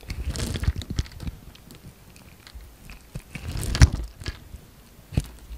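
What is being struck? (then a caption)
Bar of soap. A utility knife blade scores and shaves a solid orange bar of soap, with chips falling away. Dry, crunchy scraping bursts come in two busier passages, at the start and again past the midpoint, broken by quieter gaps and a few sharp, close clicks. Most of the energy sits low, with only thin bright edges on the cuts.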